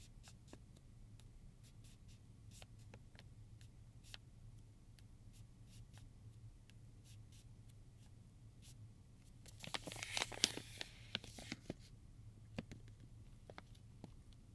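Fingertips and short nails scratch across the crinkly film of a silver metallized plastic pouch with combs inside, lying flat on a table. Quiet, sparse, bright scratchy ticks sit over a low steady hum. A louder burst of dense crinkling comes about two-thirds of the way through before it settles back to scattered scratches.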